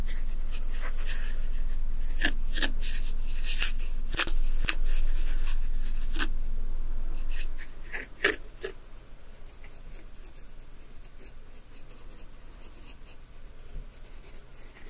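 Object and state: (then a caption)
Fine dry sand scratched with a stick. A small wooden stick scratches short strokes through the fine dry white sand of a large zen garden tray patterned with waves. It makes a bright, hissy scraping with sharp little ticks over a steady low hum. After about seven seconds the scratching drops much quieter and thins to faint, scattered rasps.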